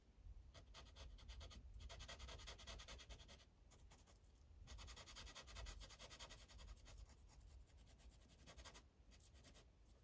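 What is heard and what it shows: A dark felt-tip Sharpie marker held in the fingers is rubbed back and forth across a thin printed paper coloring page lying flat on a clipboard. The result is quick, uneven scratchy strokes, about two or three per second, with a bright hissy edge over a soft low rumble. The coloring briefly pauses twice before resuming.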